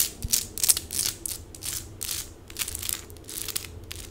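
Long pink acrylic nails scratch quickly across small plastic stick-on rhinestones covering a forearm and hand. The result is a rapid, uneven stream of bright, crisp clicking and ticking scratches that come in short bursts, each dying away almost at once.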